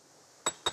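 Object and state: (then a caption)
Sound volcanic rock fragment. An angular volcanic rock fragment from a debris avalanche in the Cirque de Cilaos is tapped twice, giving two sharp, clear clinks with a bright ring near 3.75 kHz that fades quickly. The clear ring shows the rock is fairly sound, with the tap used to judge how weathered the rocks are.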